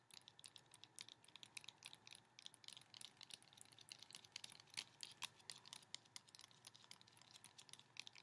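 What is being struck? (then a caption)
Hardcover picture book with laminated cardboard cover. Fingertips tap along the edges of a large hardcover *The Polar Express* picture book with a solid, flat, laminated glossy cardboard cover, held close with both hands. Quick, dry, bright clicks come in a dense, uneven patter over a quiet background, each tap dying away almost instantly.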